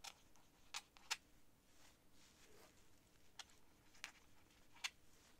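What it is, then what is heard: Quill nib scratching on paper. A thin quill or dip pen nib scratches across flat, thin sheets of cream writing paper lying on a desk while writing. A series of short, bright, dry scratches and ticks stands out over a quiet, steady hiss, with softer faint strokes between them.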